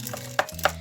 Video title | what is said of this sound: 🎀Ablamla Gerçek VS Sahte Barbie Challange-Barbie Fashionistas 103 Numara Açılımı.🎀 | ayakkabısı çok sert böyle taş sesi geliyor